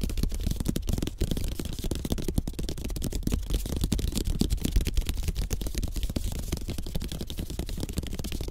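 Fingertips of both hands tap quickly across the thin, tied bamboo sticks of a rolled-slat bamboo placemat lying flat on a table. The result is a dense, continuous run of short, dull clicks and soft thuds that die away instantly, with most of the energy low in pitch.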